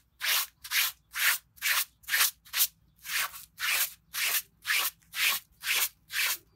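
A green plastic bristle brush held in a gloved hand scrubs a small, wet red pile rug lying on concrete. Thirteen bright, scratchy rubbing strokes repeat in a steady rhythm of about two per second, each a short hiss-like rasp with no low rumble.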